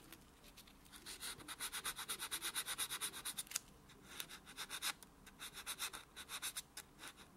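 A small white solid foam nail buffer block is scraped back and forth across a natural fingernail while the hand lies flat. The result is quick, bright, scratchy rubbing strokes in two runs separated by a short pause, each stroke a soft, dry swish with no low-end weight.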